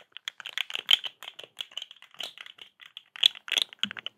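A small, hollow, rainbow-striped corrugated plastic pop tube is stretched, compressed and scratched with long acrylic nails close to the microphone. It makes a rapid, irregular series of dry, bright clicks and crinkling ticks with almost no low end and no ring after each one.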